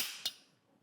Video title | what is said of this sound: PARADYM Ai SMOKE DRIVER REVIEW // Callaway's Best Driver Ever? | got that higher pitch. It sounds like a titanium driver, even though it's got a bunch of carbon.